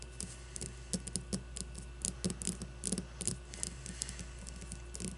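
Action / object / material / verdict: scrape / leather baseball / leather / none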